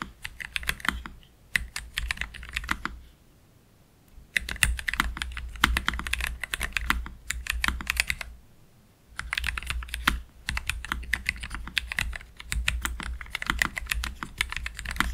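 Slow fingertip typing with both hands on a black Keychron K3 Pro low-profile mechanical keyboard with Gateron Red low-profile switches and plastic keycaps, resting on a desk mat. Bursts of short, bright, clicky keystrokes come in several runs separated by brief pauses, over a low steady hum.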